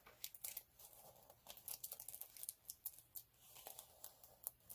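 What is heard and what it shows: Both hands scratch and rub the rough surface of a flat, multicolour chunky glitter sheet (glitter cardstock or vinyl) lying on a dark cloth, using short nails and fingertips. The sound is quiet and close, with dense, bright, crisp crackling and quick scratchy ticks that stop short, between soft rubbing hiss.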